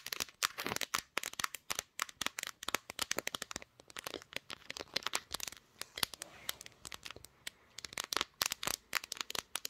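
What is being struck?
Smartphone with glass back.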